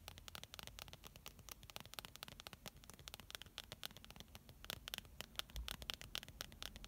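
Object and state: Plastic squeeze tube, filled.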